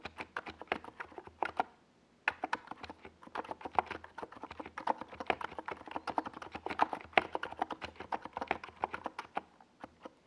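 A compact 68-key NiZ Plum Atom 68 mechanical keyboard with a hollow white plastic case and purple and yellow Domikey Gas Attack SA plastic keycaps is typed on rapidly with the fingertips of both hands while it rests on a desk pad. About 44 short, crisp, mid-pitched clacks come in quick bursts, with a brief pause near the two-second mark. Each tap dies away almost instantly.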